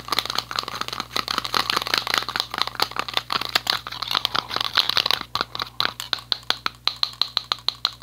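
A yellow metal aerosol spray paint can is tapped with fingertips and nails along its side. The result is rapid, bright, tinny clicks and taps with a faint rattly ring. The taps run densely for about five seconds, then space out into a slower, steadier rhythm.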